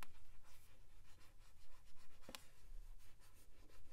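Long pink nails tap and scratch the glossy card front cover of a paperback novel with a solid paper block, held upright. Quiet, dry scratching strokes come in uneven bursts, with a sharper tap standing out partway through, over a low steady hum.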